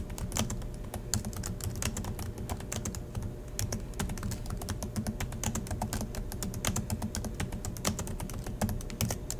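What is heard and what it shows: Fingertips of both hands type steadily on the black plastic chiclet keys of a silver Acer laptop resting on a desk. The clip is a dense run of sharp, bright key clicks and taps over a steady low hum throughout.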